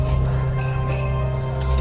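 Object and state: Nothing is struck.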